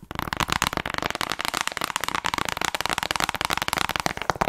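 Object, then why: Plastic game case. Long red nails rapidly tap and scratch the cover and edges of a hollow plastic Nintendo Switch game case held close to the mic. The sound is a dense stream of crisp, bright clicks and scrapes with very short decay and little low end.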